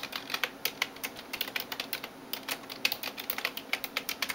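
Fingertips and nails tap rapidly on the keys of a backlit plastic computer keyboard, producing about 29 short, bright clicks over a few seconds. The clicks are crisp and dry with almost no low end and die away instantly between taps.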